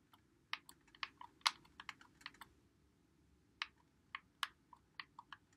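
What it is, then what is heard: Plastic game controller buttons. A white Xbox One controller with a hollow plastic body is held in both hands while fingertips press and click its buttons and thumbsticks. Quick, dry, bright plastic clicks come in uneven bursts with a short pause midway, each click dying away almost instantly over a faint low hiss.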